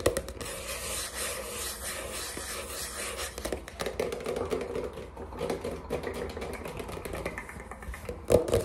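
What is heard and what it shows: Fingertips with short nails rapidly tap and scratch the glossy printed cover and edge of a flat, rectangular watercolor paper pad, a solid stack of sheets held up in the air. The result is a quiet, continuous run of dry, papery scrapes and soft taps with a faint mid tone near 490 Hz and a bright, hissy texture, ending in a slightly louder scratch.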